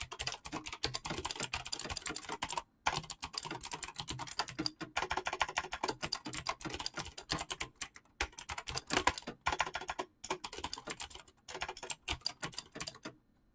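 Fingertips type rapidly on a full-size backlit mechanical keyboard with PBT plastic keycaps. A dense, steady stream of short, bright clicks and clacks centred around 1 kHz is broken by a few brief pauses. Each keystroke dies away almost instantly.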